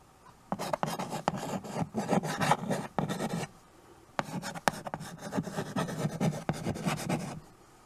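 White chalk scratches across the surface of a small flat chalkboard in a wooden frame, held at the edge, while names are written on it. Bursts of dry, raspy scraping and scratching come with sharp taps between strokes, then a short pause, then more writing.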